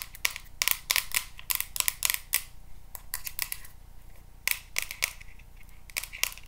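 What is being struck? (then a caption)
Plastic paddle hairbrush. A teal plastic paddle hairbrush with a hollow-looking back, held in the hands, is tapped and scratched with paper clip nails. About twenty sharp, bright clicks come in quick, uneven clusters, each dying away almost at once, with faint scratching between them.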